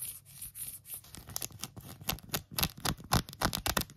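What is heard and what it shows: Long acrylic nails scratch and tap quickly on an empty pink phone case with a tweed fabric back and a silicone rim. The result is a run of bright, dry, rasping scratches and short clicky taps at an uneven, fast pace, each dying away almost immediately.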